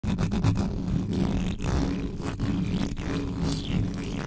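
Long yellow acrylic nails and fingertips scratch fast across the uncovered hollow metal mesh grille of a large black USB condenser microphone. The result is a dense, continuous rumbling scrape, heavy in the low end, with brief sharp crackles cutting through the steady texture.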